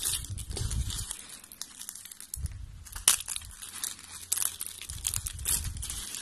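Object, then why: Dry soap strips. Thin, flat, beige dry soap strips are held, snapped and crumpled between fingers with long pink nails. Dense, bright crunching and crackling comes in bursts, with sharp snaps standing out and soft low thuds underneath. The strips break apart with a dry, crunchy sound.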